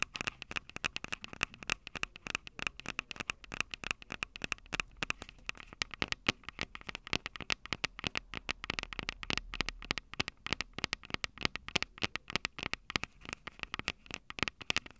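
Long purple nails tap and scratch the metal capsule heads of a small Tascam DR-05 handheld recorder, which has a plastic body and two metal mic capsules. The result is a dense, steady stream of sharp, bright clicks and dry scratches that stop instantly with no ring.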